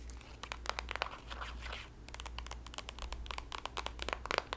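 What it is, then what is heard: Soft plastic lotion tube. Long nails tap, scratch and squeeze a green printed soft plastic squeeze tube of body lotion with a white cap that appears filled. Quick, bright crinkly plastic clicks and scratches come in dense bursts, with a smoother rustling squeeze in the middle, over a steady low hum.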